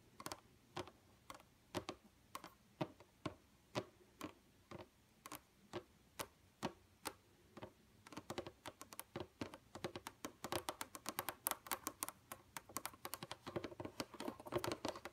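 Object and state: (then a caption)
Computer monitor screen tapped with long nails. Long, pointed red nail tips tap on a flat, dark computer monitor screen with both hands in quick, typing-like taps. Short, dry, bright clicks start out evenly spaced about half a second apart, then speed up into dense, overlapping flurries of tapping. Each click dies away almost instantly.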